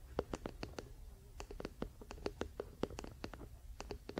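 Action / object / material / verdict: tap / wooden paddle hairbrush back / wood / none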